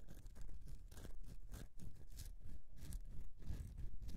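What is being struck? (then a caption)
Carved bar of soap. Fingernails scratch the carved surface of a solid bar of soap. Dry, crunchy scraping strokes come in uneven bursts, with a bright gritty texture over a soft low rumble.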